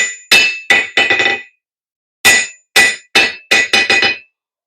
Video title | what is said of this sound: Black Smith 101 Lesson 2 Looking at the Hammer and the Anvil | It's not a really heavy anvil, but it does have a fairly good rebound on it.